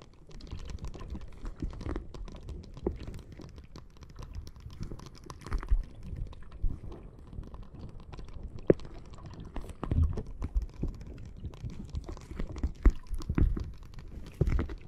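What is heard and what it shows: Long nails tap quickly on a clear plastic bag full of red water beads lying flat on the microphone. The result is a steady, dense patter of soft, dull, low-heavy taps with a faint squishy crunch, broken by a few sharper, louder clicks.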